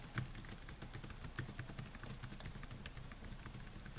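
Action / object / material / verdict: tap / plastic laptop keyboard / plastic / none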